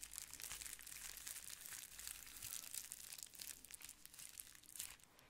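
A clear plastic bubble wrap sheet is held beside the mic while nails scratch it and fingers squeeze it. It makes a dense, bright, steady crinkling with quick crackles, quieting near the end.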